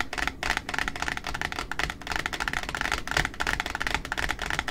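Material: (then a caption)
Cardboard. Long nails tap rapidly on the white cardboard top of a large, flat pink satin ribbon spool lying on a table. The result is a steady stream of quick, dry, clicky taps with a bright, papery edge and a light hollow thump beneath. Each tap dies away almost at once.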